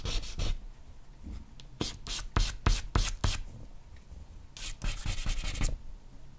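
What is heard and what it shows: A compressed charcoal block held in the hand is rubbed broadly over a flat white sheet of drawing paper to shade hair. Bursts of short, dry, bright rubbing strokes come in quick runs separated by quieter pauses, with a low soft underlayer beneath the scratchy texture.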